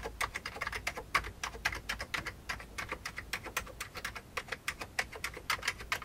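Both hands type fast with their fingertips on an old beige plastic computer keyboard. About forty rapid, dry keystrokes click in an uneven patter with a bright, clattery tone and very short decay, over a faint low background hum.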